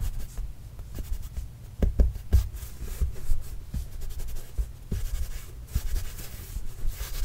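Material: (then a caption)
Leather. A full-size orange Spalding leather basketball, hollow and inflated, signed with marker and bearing a Trail Blazers logo, is scratched with the fingernails and tapped with the fingers. About eight soft, dull low thumps stand out over a steady rustling scratch, each dying away almost at once.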